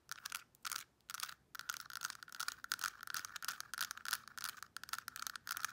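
Long nails rapidly tap and scratch the compartment lids and compartments of a translucent pink plastic weekly pill organizer. The result is a dense run of bright, dry plastic clicks and scrapes with a steady ring around 1.3 kHz and almost no low end, broken by a few short pauses in the first second and a half.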